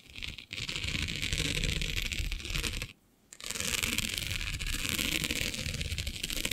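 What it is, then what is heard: Plastic diamond mesh sheet. Long nails scratch across a flat, black, iridescent plastic diamond mesh sheet, making a steady, dense, bright scraping rasp with a low rumbling undertone. The scratching pauses briefly near the start and again for a moment around three seconds, then resumes just as busily.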